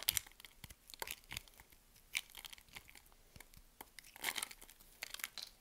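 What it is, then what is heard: Bar soap being cut. A solid white soap bar held in the palm is cut into small cubes with a metal blade, making dense, crisp crunching and scraping sounds as the cubes crumble off. The short, bright cuts cluster around a few louder strokes and sit mostly in the high frequencies, with almost no low end.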